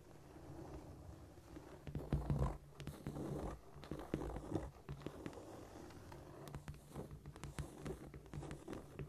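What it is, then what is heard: Cork floor tapped and scratched with nails. Long pointed nails tap and scurry across a flat, solid cork floor in quick, dry clicks and scratchy scrapes, with no voice. The sound is soft and low-heavy, rising in busier bursts and then settling into lighter pattering.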